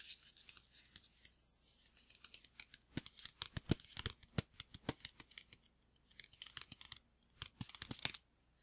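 A hollow, green printed paper gift bag is held in the hand and tapped and scratched with fingertips and nails on its flat side. Quick, dry, papery taps land in irregular bursts, mixed with brief scratchy rustling and crisp high-frequency crackle.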